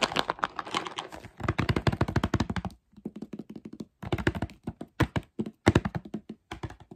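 A clear plastic jar with a black screw lid, full of mixed nuts, is tapped and scratched on its lid and sides with fingertips and short nails while the nuts are shaken inside. The result is rapid bursts of short, dry, hollow taps with a low thunky body and a faint rattling scratch, broken by brief silent pauses.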